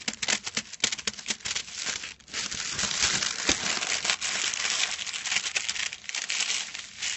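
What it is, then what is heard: Metallic foil sheet being crinkled. A silver metallic foil sheet lies flat on a cloth, its folds visible, as fingertips crinkle and scratch it. Sharp, bright crinkles snap in quick bursts for the first couple of seconds, then give way to a denser, louder, continuous crackling scratch. The sound is almost all high-frequency, with very little low end.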